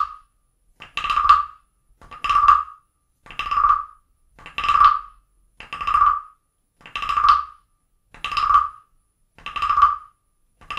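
A small carved wooden frog guiro, first held in the hand and then set on a book, is tapped and scraped along its ridged back with a wooden stick. Each scrape makes a short, swelling, rasping croak centered around 1.2 kHz with bright edges. The croaks repeat steadily about once every second or so, with silence between them and almost no ring.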